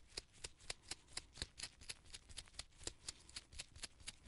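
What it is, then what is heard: Paint brush bristles flicked. Purple nitrile-gloved fingertips repeatedly rub and flick the pale bristle tip of a small artist's paint brush with a gold ferrule and red wooden handle, held close up. About nineteen quiet, crisp, bright flicks follow at an uneven pace. Each is a short, papery burst over a soft, steady hiss.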